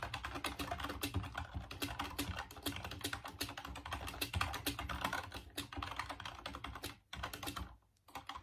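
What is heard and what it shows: Fingertips type steadily on a full-size, off-white plastic Dreamcast computer keyboard, producing a dense run of quick, bright plastic key clicks with a low thump under each press. The clatter continues almost without a break, then drops out briefly near the end before a few final taps.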